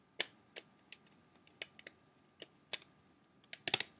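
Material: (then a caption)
Plastic. Fingernails tap rapidly on the clear plastic disc tray of an open, empty CD jewel case. The sharp, bright clicks are short and dry, with little low end, and come in irregular bursts, with a quick cluster near the end.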